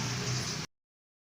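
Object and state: Nothing is struck.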